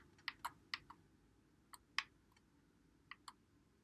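Fingertips press and click the buttons and thumbsticks of a white Xbox One controller with a hollow plastic body, held in both hands. Eight short, sharp, bright plastic clicks come at irregular intervals with almost no ring, over a faint low hiss.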